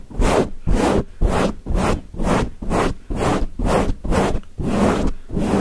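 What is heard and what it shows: Fingertips of both hands scratch a grey foam windscreen on a microphone in fast, repeated strokes. About ten separate bursts of rough scratching come at a quick, slightly uneven pace, each a dense rustle with a heavy low rumble and a bright hiss on top.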